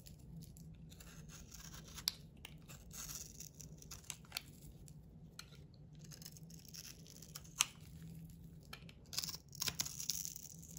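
A round solid bar of soap, blue outside and white inside, is held in the palm and scraped and shaved with a metal utility knife blade. Soft, bright scraping and crisp shaving sounds run continuously, broken by occasional sharp clicks and faint crunches over a low steady hum.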